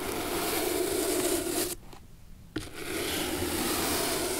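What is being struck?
Old leather shoe sole scrubbed with a bristle brush.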